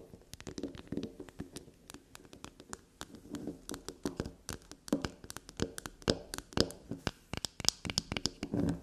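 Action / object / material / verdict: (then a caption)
scrape / bar of soap / soap / none. A small solid black soap bar shaped like a unicorn head is held in the hand and scratched and tapped with long glossy black natural nails. Quick, dry clicks and brief scratches come in a steady, uneven stream, each one short and crisp with a bright edge over a soft low body. The tapping grows denser and slightly louder toward the end.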